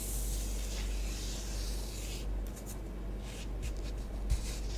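Long acrylic nails trace and rake lines through a thin layer of orange bath bomb powder spread on a flat grey tray. A steady, bright, hissing scratch fills the first two seconds, then breaks into shorter, intermittent rubbing strokes. A constant low hum runs underneath throughout.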